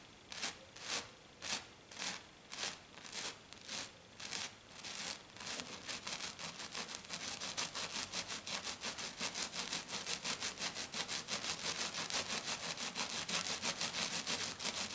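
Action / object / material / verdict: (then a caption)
scrape / glitter-coated sheet / glitter coating / none. Long black nails scratch back and forth across a flat silver glitter-coated sheet with both hands. It starts as about ten separate, evenly spaced strokes and then speeds up into a rapid, continuous scratching. The sound is a bright, dry, gritty rasp with almost no low end.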